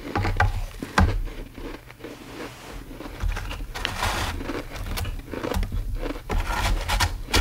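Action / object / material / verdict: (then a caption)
scrape / ice slab in a plastic tray / ice / none. Fingertips and nails scratch and dig into a large, flat, solid slab of frosty frozen ice filling a white plastic tray. Short, bright scraping and crackling bursts sit over a steady low, dull rumble, with sharper ticks now and then as the nails bite into the surface.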